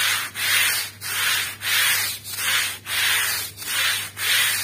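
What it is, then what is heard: Wet woven rug being scrubbed. A long-handled stiff-bristle broom scrubs a small, wet, fringed woven rug, muddy from dirt, lying on a plastic sheet. Bright, hissing, rasping strokes swell and fade in a steady back-and-forth rhythm, each separated by a brief dip. A faint low hum runs beneath them.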